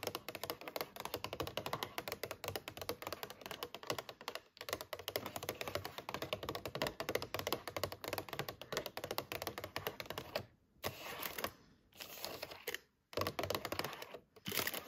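Long painted fingernails tap and scratch rapidly on the lid and paper label of a clear plastic clamshell of fresh strawberries, hollow and full of fruit. The result is a dense run of quick, dry, clicky taps and scrapes for about ten seconds, then the sound breaks into short bursts separated by brief silences. A faint, steady high tone sits underneath throughout.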